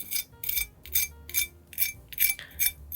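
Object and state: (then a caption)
Moderately crispy baked chicken wing skin. A knife is dragged across the skin of a baked rotisserie-style chicken wing to test its crispness, giving seven bright, high-pitched scratchy crackles with short gaps between them. The skin has a decent crisp, though not as crispy as a fried wing.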